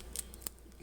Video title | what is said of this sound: Homemade Flatbread Pizza | you can kind of hear how how crispy that is